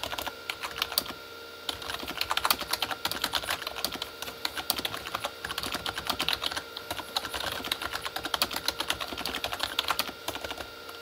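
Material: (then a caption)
Plastic. Both hands type with their fingertips on a full-size Corsair K35 mechanical keyboard with red-backlit plastic keys. Quick, bright plastic clacks come in a steady stream, with a brief pause early on. Each click is short and dry, over a faint constant tone near 1.2 kHz.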